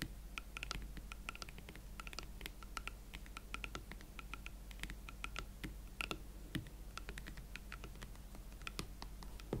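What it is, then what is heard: Leather platform boots. Long nails tap the leather shaft, heel and chunky hollow platform of an empty pair of hot pink leather Valentino Club Platform boots. The result is a quick, steady stream of light, dry clicks and taps with brief bright ticks over a constant low hum.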